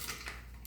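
A metal bracket on a knife sharpener, held by a loosened screw, is shaken and rattles with quick, light metallic clinks over a steady low hum. The screw is loose and the bracket is not held firmly in place.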